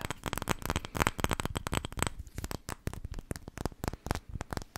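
Long red-painted nails tap and scratch the gold metal lid and glass sides of a small, filled-looking glass candle jar with a floral label, held in both hands close to the microphone. Quick, dry clicks and taps with a dull low thump come in dense, uneven bursts, broken by short scratching passages. Each tap dies away almost instantly.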